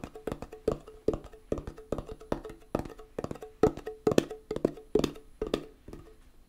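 Fingernails tap the lid of a small, round, closed metal tin of hand putty with a "Hand Gum" label. About twenty-two quick, uneven clicks are heard, each a short hollow tick with a woody, pitched ring that stops almost at once.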